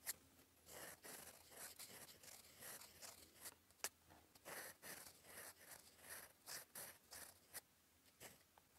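The gold metal nib of a fountain pen, held in fingers, scratches across a flat sheet of cream lined paper on a desk while writing cursive. Quiet, bright, scratchy strokes come in uneven bursts, with a few sharp ticks as the nib touches down and lifts.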